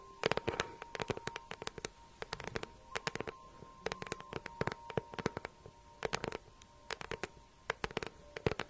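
A small, hollow green crocodile-embossed faux leather handbag with a gold clasp is held up and tapped and scratched with long nails. Quick dry clicks and taps come in irregular bursts with short scratchy rustles, each dying away almost instantly, over faint steady tones.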